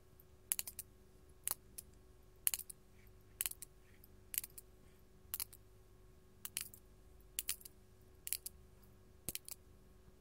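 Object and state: Glass crystal gem tapped with nails.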